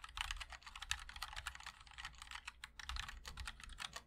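Fingertips of both hands type continuously on a 60% MOD-L mechanical keyboard with linear switches, a black aluminum case, and white and black ABS keycaps. Rapid, bright clacks overlap in a steady stream, each keystroke short and crisp with a slight low thud beneath.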